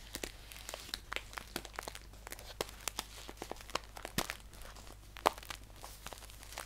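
Fingertips and nails crinkle, scratch and tap a handheld green paper tea bag pouch with a white label, hollow and filled with tea. It makes a quick run of dry, bright crackles and sharp clicks that stop at once, over a faint steady low hum, with one louder snap near the end.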